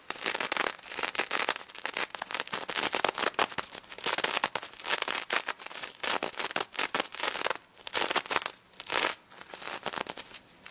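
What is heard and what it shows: Long red nails scratch and flip the plastic sequins on a pink sequin-covered stuffed plush pig toy. The result is a dense, bright crackling and crinkling rattle with no low end, coming in rapid bursts with brief pauses between strokes.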